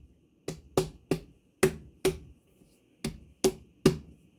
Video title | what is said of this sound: Watermelon 🍉 Anyone???? | what are we looking for when we tap it? Well, you want to see how hollow it is